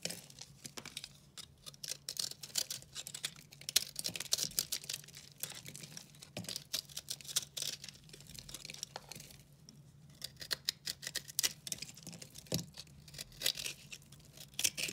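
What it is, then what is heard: Dry soap bar. A multicolor dry recycled soap bar, held in the hand, is cut and scraped with a utility knife, and flakes and crumbs break away. Dense, bright, crisp scraping and crackling comes in quick clusters, with brief quieter gaps.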